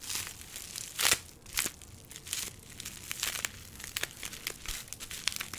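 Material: Plastic.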